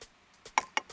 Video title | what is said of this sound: X47 - Ultraviolette's most appealing bike yet - First Ride - Autocar India | this charging flap feels like metal, sounds like metal